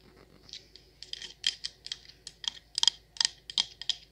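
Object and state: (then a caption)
Candle jar with metal lid tapped with fingernails. Long nails tap the copper-toned perforated metal lid of a patterned candle jar full of wax, then move to its patterned sides. About 14 quick, bright, clicky taps fall in an uneven rhythm. Each is dry and stops instantly with no ring.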